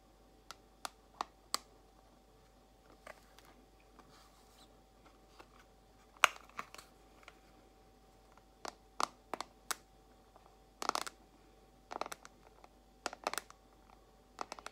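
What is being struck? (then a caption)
Small plastic compartment box. A small clear plastic compartment box holding white nail tips is held in both hands and slowly tapped with long acrylic nails. About 19 sharp, dry, bright clicks sound at uneven intervals, each dying away instantly with no ring, over a quiet steady background.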